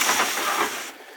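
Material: Nothing is struck.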